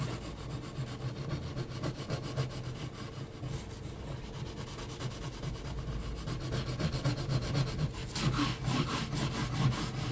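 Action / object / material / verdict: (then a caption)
scrape / graphite pencil on heavy textured paper / paper / none. Slow graphite pencil strokes drawn across a flat sheet of heavy textured mixed media paper, with pauses between them. A soft, steady scratchy rubbing with a low rumble underneath grows louder and brighter with a high hiss toward the end.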